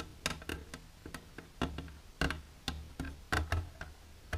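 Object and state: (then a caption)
Empty plastic container tapped with nails. Long silver nails tap the wall of an empty, clear plastic container standing upright, giving about fifteen quick, irregular taps. Each tap is a short, dry tick with a hollow low thump and a bright click on top, dying away almost at once.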